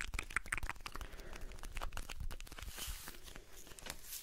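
Fingertips and nails tap and scratch the sides and flap of a small blue Alpen Salz cardboard carton, a hollow box that probably holds salt. Quick, dry crinkling taps and scrapes come in a dense, steady stream with a low thump under them and bright papery scratching on top.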